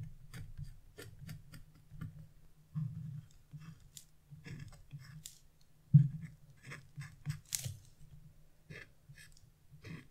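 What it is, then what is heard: Scratch-art coated paper being scraped. A wood-handled chisel scratches small marks near the edge of a black-coated scratch-off paper page resting on a table. Short, dry scrapes and crisp clicks with bright, airy tops come in scattered bursts over a steady low hum, with one sharper, louder scratch near the middle.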